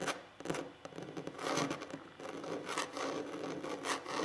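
Short fingernails and fingertips scratch and rub across a large, solid wooden tabletop. The result is a quiet, dry, rasping texture of continuous scraping and friction, broken by brief sharp ticks, with little low end and a bright edge.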